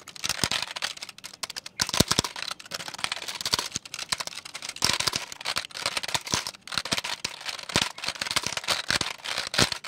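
A full-size black plastic computer keyboard with a hollow case is held up by hand while fingertips tap and type on its plastic keys. Rapid, irregular, crisp clicks and clatters come in bursts, each very short and dry, bright with little low end.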